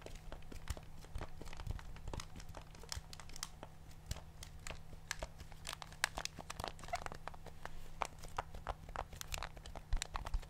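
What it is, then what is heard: Plastic TV remote control. A black plastic TV remote with rubber buttons is held close to the mic while fingertips press and tap its buttons and the remote is shifted around in the hands. Dense, dry, crisp clicks and taps with bright edges follow one another rapidly, each dying out almost instantly, over a steady low hum.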